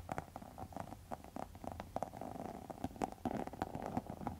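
Long metal nail tips scratch across a pink textured faux leather wallet, making a quick, quiet run of short scratchy ticks. The scratches have a dull, mid-pitched tone around 750 Hz with a soft low rumble beneath and almost no bright edge, and each stroke cuts off almost at once.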